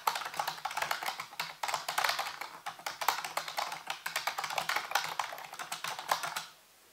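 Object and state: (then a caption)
Plastic computer keyboard being typed on. Fingertips type rapidly on the hollow keys of a full-size black plastic computer keyboard resting on a white base. The result is a dense run of sharp, clacky taps centered in the midrange with a bright edge, each click dying away almost at once, before the typing stops and the clip falls quiet.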